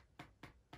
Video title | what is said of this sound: Kindle Paperwhite 2021 Signature Edition long(ish) term review | if you tap the back i don't know if you can hear that it kind of feels quite hollow